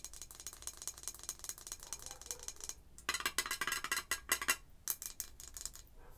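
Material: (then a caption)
Glass, metal. Long acrylic nails tap on the gold metal screw lid and the red-painted glass sides of a wax-filled jar candle. The result is an irregular run of quick, dry, bright clicks with almost no ring. Soft ticking in the first half gives way to louder, sharper glassy taps midway, then settles back to lighter tapping.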